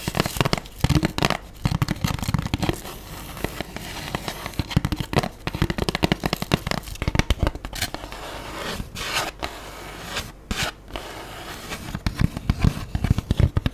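Long nails tap and scratch the dotted inner surface of an empty, hollow black styrofoam food tray held upright. Many quick, dry taps and squeaky scrapes with no ring are heard, with faint crackle between bursts.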